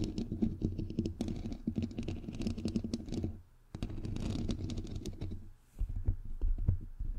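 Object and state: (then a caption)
Metal mesh microphone grille being tapped and scratched. Long nails tap and scratch the hollow, white perforated metal mesh grille of a bare microphone head. Rapid, dense clicks and scratches come through with a boomy, low thump, broken by two brief pauses before the tapping resumes.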